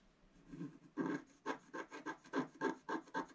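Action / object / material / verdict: scrape / black-coated scratch-art paper scratched with a wooden stylus / coated paper / none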